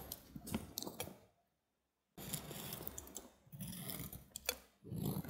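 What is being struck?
Soap bar cut with a blade.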